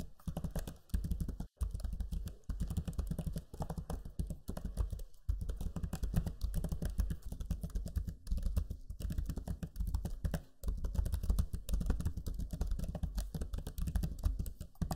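Fingertips type steadily on the low-profile plastic keys of a backlit black Lenovo Legion 5 laptop keyboard. The result is a dense stream of soft, quick, dull clicks with brief pauses, weighted heavily toward low thuds.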